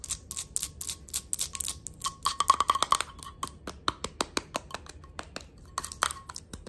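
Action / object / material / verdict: tap / glass candle jar with metal screw lid / glass / none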